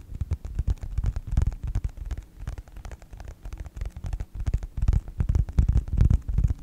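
Fingertips tap and scratch the cover of a closed yellow faux leather wallet with a snap strap. The result is a quick, irregular run of soft, dull, low thumps with short scratchy rustles between them, each dying away almost at once.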